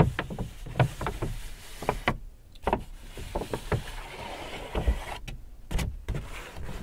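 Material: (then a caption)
Paper. A large white paper Hudson's Bay shopping bag, hollow and apparently empty, is held and rubbed by fingertips, crinkling the paper. Quiet, dull crackles and rustles come in short bursts, with brief near-silent pauses between them.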